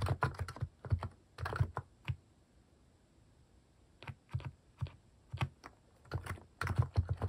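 Fingertips type on a compact mechanical keyboard with cat-shaped plastic keycaps, producing quick bursts of short, dull clacks with a deep low thump to each keystroke. The typing stops for almost two seconds in the middle, then picks up again in uneven runs of taps that die away almost instantly.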